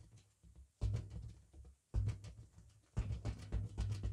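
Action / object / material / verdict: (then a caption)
tap / inflated latex balloon / latex / none. A fully inflated, hollow, head-sized pink printed latex party balloon is held in front of the face in a car while hands in thin latex gloves tap it with their fingertips and rub across its surface. After a quiet, soft patter, three louder bursts of deep, muffled thumps and rumbling rubs follow, with almost all energy very low and little ring.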